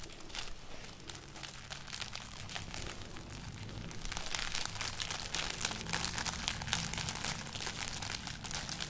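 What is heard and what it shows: A hanging string of dried, hollow red chili peppers is held close and rubbed and crinkled with fingers and nails. The result is a dense, continuous papery crackling and crunching, bright and crisp up high, that grows louder and busier after about four seconds. A low hum sits underneath.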